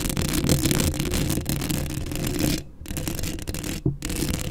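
Long acrylic nails scratch the hollow metal mesh grille of a black Blue Yeti microphone up close, making a dense, continuous rasping scratch with a heavy low rumble and a grainy high edge. The scratching briefly drops out twice, near 2.7 and 3.9 seconds, then resumes.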